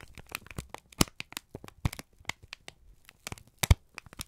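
A wrinkled brown kraft paper strip is squeezed and crinkled by both hands, giving a run of dry, sharp crackles and rustles across the full range up to high frequencies. A few louder snaps stand out near the one-second mark, around 1.9 seconds, and at about 3.7 seconds, with quieter crinkling in between and brief silent gaps.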